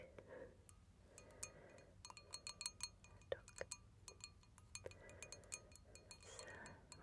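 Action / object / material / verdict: shake / small glass cup with stones inside / glass / none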